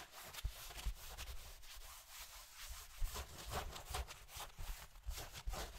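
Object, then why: Cotton denim jeans. Fingertips and a palm rub a soft, light-blue cotton denim jeans leg with a large frayed rip, held up beside a microphone. Quiet, steady rubbing and brushing strokes carry a papery, bright hiss over soft low thumps where the hand presses the fabric.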